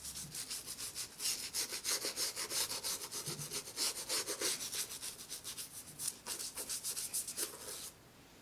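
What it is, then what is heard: Toothbrush scrubbing a rubber shoe sole. A white toothbrush scrubs the black rubber sole edge of a brown leather J.Crew penny loafer, held empty and hollow on its side. Quick, fairly regular back-and-forth strokes make a bright, hissy scratching that stops just before the end, leaving near silence.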